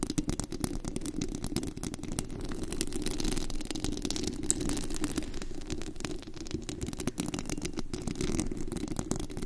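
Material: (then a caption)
Metal mesh. Long acrylic nails scratch and tap across the bare white metal mesh grille of a desktop condenser microphone with a hollow head on a rhinestone body, recorded at very high mic gain. The result is a dense, continuous scratching with a heavy low rumble, dotted with quick, crisp high clicks from the taps throughout.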